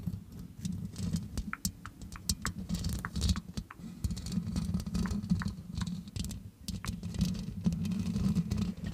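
Long acrylic nails on both hands rest on the black metal mesh grille of a large hollow condenser microphone, scratching and tapping it throughout. The result is a dense, low, boomy rumble with a steady hum-like body, dotted with quick, bright clicks and ticks that die away almost at once.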